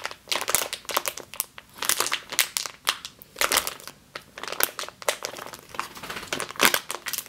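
Both hands with long green nails squeeze and scratch a medium clear plastic bag with a yellow label, full of flour or grain, resting on a table. Dense, bright crinkling and crunching comes in bursts of rustle, rising and falling with short quieter gaps, with almost nothing in the low end.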